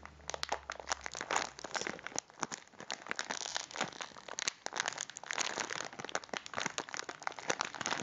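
A full cylindrical packet of biscuits in a crinkly plastic wrapper is rolled and crinkled between both hands with the fingertips. The result is a dense, continuous stream of sharp, bright crackles and crunches with no ringing, carried mostly in the mid and high range with almost no low end.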